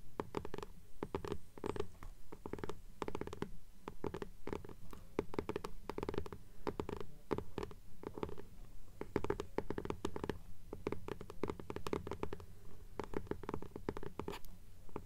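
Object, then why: Hardcover book with paper dust jacket. Long nails scratch and tap rapidly across the paper dust jacket of a blue hardcover "Fairies" book held upright. The result is a dense, uneven patter of short, dry strokes with a muffled, low-heavy body and a steady faint low rumble underneath.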